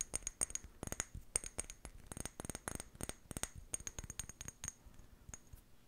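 A small amber glass jar with a white plastic lid, held in both hands, is tapped and scratched with long painted fingernails. A quick, irregular run of sharp, bright clicks with a faint high glassy ring stops almost at once, with soft scratching between taps that thins out toward the end.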